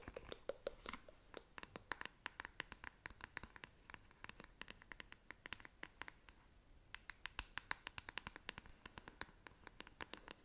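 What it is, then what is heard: Plastic paddle hairbrush. Long nails scratch and tap the smooth, hollow back of a black plastic paddle hairbrush. The result is a quick, irregular run of sharp, dry clicks with bright, short scratchy strokes between them. The sound is quiet, close and crisp, with almost no ring.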